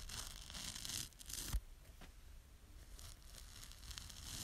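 A small yellow foam kitchen sponge with a green scouring pad is held in the fingers while long nails scratch across the scouring edge and the foam. The result is a quiet, bright, tearing scratch that comes in bursts, loudest in the first second and a half with a sharp peak near 1.5 seconds. Softer, dry rasps continue over a low rumble.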